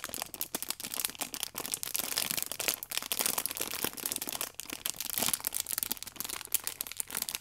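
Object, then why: Pack of paper sachets in clear plastic film. Fingertips and long nails squeeze and rub the clear plastic wrap on a multipack of orange paper baking powder sachets held on its edge. The film gives a steady run of dense, bright crinkles and sharp crackles with almost no low end, each snap dying away instantly.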